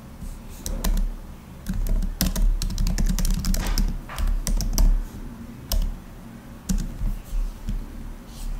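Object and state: Laptop keyboard with plastic keys.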